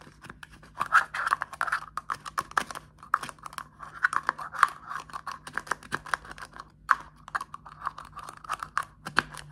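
A small plastic deodorant stick with a clear plastic cap is held in the hand and tapped and scratched with fingertips and short nails, mostly on the cap. The result is a dense run of quick, dry clicks and scratchy strokes centered in the mid-range around 1 kHz, with almost no low end and no ringing after each hit.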